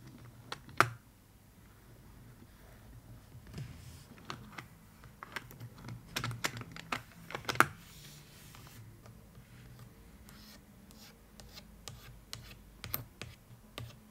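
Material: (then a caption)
Cardboard. Long acrylic nails tap on the side and the brass metal clasp of a small, hollow, suitcase-shaped cardboard box covered in floral and striped paper. The result is a quiet, irregular series of short, dry clicks and taps that die away almost instantly, with a couple of sharper, brighter clicks standing out. A low, steady background rumble runs underneath throughout.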